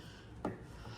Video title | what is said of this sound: Why the Tesla Model Y Juniper is the Best Crossover SUV EV! | if you're tapping on the car, you wonder why this feels like it's plastic